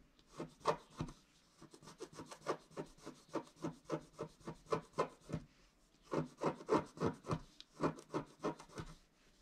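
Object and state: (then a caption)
Scratch-art card being scraped. A wooden stylus scrapes along the upper trunk on a flat scratch-art card of wax-coated paper. About 19 short, dry scratching strokes come in a fairly steady rhythm, with a brief pause just before the second run. The scraping is quiet and rough, with no ring after each stroke.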